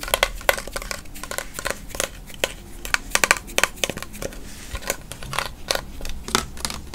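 Fingernails tap and scratch a tall "Naturals" body spray bottle with a white sprayer, which looks plastic and is full of amber liquid, moving over the bottle and its label. A quick, irregular run of sharp, dry clicks fades almost instantly. Between the clicks, bright crinkly scratching sits over a faint low hum.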